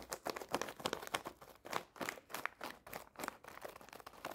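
A full red foil-lined plastic snack bag is tapped and scratched with long painted nails. The result is a quiet, fast, uneven run of crisp crinkling taps and scrapes, bright and papery with almost no low end.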